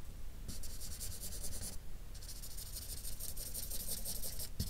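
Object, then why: Felt-tip marker on drawing paper. A felt-tip marker with a light-blue cap draws and rubs strokes along the edges and interior of a flat sheet of drawing paper, coloring it in. Rapid, bright, scratchy squeaks come in quick repeated strokes over a low, steady rumble. They break off briefly near the middle before resuming.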